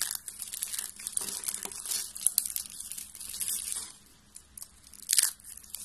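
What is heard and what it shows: A hand with long painted nails squeezes and crushes a loose pile of thin pink and green dry soap shavings on a table. The result is a dense, bright crunching and crinkling that runs for about four seconds, then drops to quiet. A last sharp crunch follows near the end.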